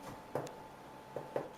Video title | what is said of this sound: la fabuleuse Tresse au beurre | si ça sonne creux c'est que c'est cuit là c'est parfait